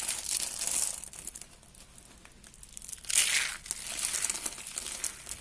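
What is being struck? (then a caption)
Soap curls crushed by hand. Two hands with long red nails grab thin, brittle, hollow spiral curls of dry blue and black-white soap and crush and crumble them into flakes. The result is a dense, bright, crinkling crunch with almost no low end. It comes in a loud burst at the start, a quieter patch of scattered crackles in the middle, then a strong crunch near three seconds that carries on to the end.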